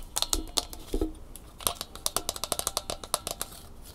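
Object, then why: Small plastic flexible phone tripod. Long fingernails rapidly tap and scratch the hollow plastic head and bumpy bendable legs of a small red Angry Birds plastic phone tripod. The result is a quick series of sharp, bright plastic clicks, with a few duller, lower knocks and soft scratching between them.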